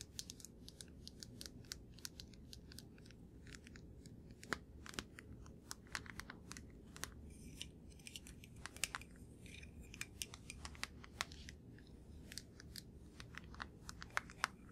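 A small hollow blue-grey plastic deodorant stick container is held up and turned while fingertips and nails tap on its label side and cap. Quick, dry, sharp clicks and taps follow one another steadily over a soft, low background hiss, each dying away almost at once.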